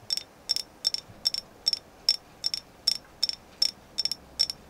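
A carved agate moon goddess figure is tapped repeatedly in a steady rhythm, giving twelve quick double taps. Each is a short, bright click with a high ringing tone that dies away almost at once over a quiet background.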